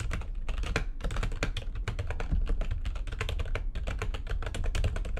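Fast typing with long nails and fingertips on a full-size, white-backlit plastic computer keyboard with a hollow housing. It makes a dense, continuous stream of sharp, bright clicks over a heavy low thump, with brief pauses between bursts.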